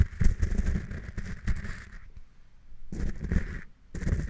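A pink plastic spatula pokes, stirs and scrapes through coarse pink Himalayan rock salt crystals in a small clear glass cup. Dense, crunchy, gritty scraping comes in bursts, with a heavy low rumble and a bright grainy hiss. The bursts are broken by two quiet pauses before the scraping resumes.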